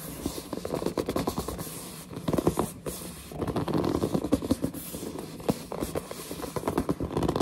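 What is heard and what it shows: Long nails scratch and squeeze-grip the glossy printed front of a large cardboard headset box. The result is a dense stream of dry, scratchy scrapes, rapid ticking taps and squeaky gripping sounds, mostly in the low-mid range with little high-end brightness. It comes in bursts with brief quieter gaps.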